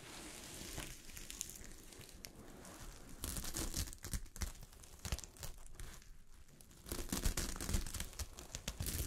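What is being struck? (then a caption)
Sequin-covered fabric sheet. A sheet of fabric covered with small gold sequins is scratched by long fingernails, making a dense, bright crinkling and rustling with quick tearing-like scrapes. The strokes come in irregular fast and slower bursts that swell louder in the middle and near the end.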